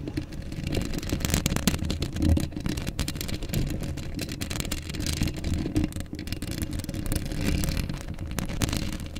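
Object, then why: Steel mesh microphone grille. Long acrylic nails on both hands scratch a hollow black steel mesh microphone grille. The result is a continuous, dense rasping and crackling with a heavy, boomy low rumble underneath and bright scratchy streaks above, swelling and dipping slightly throughout.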